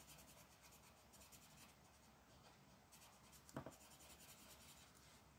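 A dark marker tip colors a thin printed paper mandala page lying flat on a dark wooden table, with quick scratching strokes while the other hand, with long black nails, holds the sheet still. The result is a quiet, steady, bright scratchy rubbing, broken about halfway through by a couple of brief, louder taps before the soft strokes continue.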